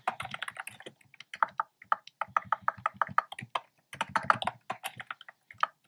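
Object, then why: Plastic keyboard with round keycaps. A black plastic keyboard with hollow round pastel retro keycaps is typed on steadily by fingertips. It gives quick, clicky, mid-pitched taps in bursts of rapid keystrokes, with brief pauses around one and four seconds and a steady tone near 1.3 kHz. Each tap is very short and dry with no ring.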